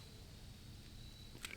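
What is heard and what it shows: A compact 9mm S&W Shield Plus pistol, its slide on a polymer frame, is shaken for comparison and makes no rattle. Only quiet low background hum and a faint steady high tone are heard, with two soft brief clicks near the end, showing that the slide is tight on the frame.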